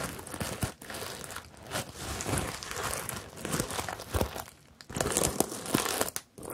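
A hollow, medium rainbow bag covered in plastic sequins on fabric is rubbed and scratched by long nails and flat fingers, flipping the sequins. The result is a steady, busy crinkling and rustling with bright, scratchy clicks and brief quieter gaps between passes.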